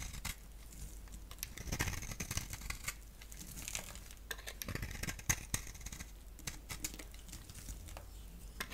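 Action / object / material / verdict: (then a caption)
scrape / bar of soap / soap / none. A solid cream-core bar of soap held in the hand is shaved with a box-cutter blade, turning off powdery curls. The result is a steady, dry scraping and crinkling with many quick, bright ticks and a few sharper snaps along the way.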